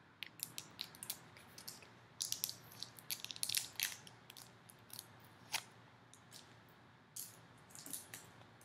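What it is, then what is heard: Plastic tub lid. Long nails scratch and tap the clear plastic lid of a small round slime tub filled with foam beads, held up close. Quiet, bright, crisp clicks and scratchy rasps come in irregular bursts and clusters, each dying away almost instantly over a soft steady hiss.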